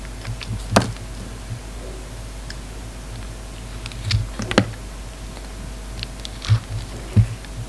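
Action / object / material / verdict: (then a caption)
scrape / bar of soap cut with a blade / soap / none. A hand-sized solid pink bar of soap with a red outer coating, held in one hand, is shaved with a snap-off utility knife blade, and flakes fall onto a wooden table. Soft scraping strokes produce a few short, crisp clicks and crackles spread across the clip. A steady low hum sits underneath.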